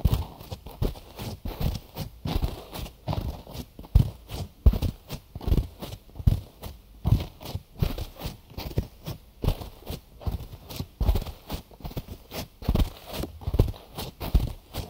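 Fingertips tap quickly on both ear sides of a binaural microphone wrapped in cotton gauze bandage. The taps come as a steady stream of soft, muffled thumps that are mostly deep and low, with quick dry decays and a faint fabric brush between them.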